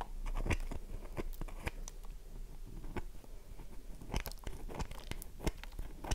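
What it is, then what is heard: Dry bar of soap scratched with nails. A solid, oval bar of dry soap is held in the hands while long nails scratch across its scored face. The result is a run of short, dry crunching scrapes and clicks with brief bright flicks over a soft low rumble. The scratches come in irregular bursts.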